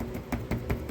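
A repaired plastic car front bumper, its tabs fixed with heat and clipped back in, is knocked four times. Each knock is a dull, low thud that stops quickly without rattle or buzz. The sound shows the bumper is solid and securely locked into its clips, so it will not pop out.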